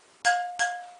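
A tight steel spoke on an RM 125 motorcycle wheel is tapped twice with a wrench. Each tap gives a clear metallic clink with a steady ringing tone near 710 Hz that fades over about a quarter second, which marks the spoke as good.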